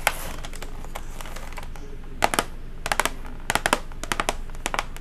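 Long acrylic nails tap rapidly on a flat, hollow silver cardboard chocolate gift box with a blue ribbon. Sharp, bright clicks with a hollow, papery knock arrive in quick bursts. A steady low background hum runs underneath.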